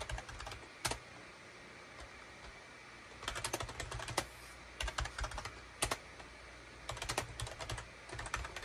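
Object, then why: Plastic computer keyboard. Fingertips type rapidly on a full-size gray and cream SHIPADOO K600 wired USB keyboard, with a hollow plastic case and plastic keycaps, resting on a desk mat. Bursts of quick, bright plastic clicks and clacks come with short pauses between them, over a low steady hum.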